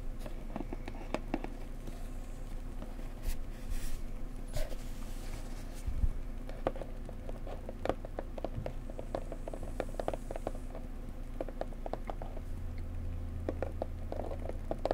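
A small square printed cardboard gift box for a bone china mug is held and tapped on its sides and edges with long nails and fingertips. Quick, soft, dry clicks and taps come in uneven bursts over a steady low hum, each dying away almost at once.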